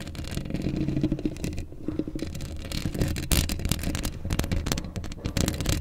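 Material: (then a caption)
Steel mesh. Long acrylic nails on both hands scratch a hollow black steel mesh microphone grille up close. The result is a continuous, dense scraping with a heavy low rumble, overlaid with quick bright clicks and scratches that come in bursts.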